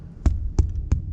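Three low, hollow thumps land on the upper wall of a rainwater collection tank, above the water line where only air is inside. Each gives a short, boomy knock centred low, around 66 Hz, over a faint steady hum. The deep, hollow tone marks an empty, air-filled section of the tank.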